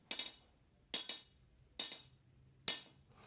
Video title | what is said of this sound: SEHARUSNYA LAKU KERAS‼️‼️ SALAH SATU YANG TERBAIK SESUAI CAMPAIGN PRODUKNYA‼️‼️ DAIDO CARNIVORE ‼️‼️ | suara blanknya garing banget. Di sini ada saya beberapa blank yang kayak gitu, dan itu powernya bagus ya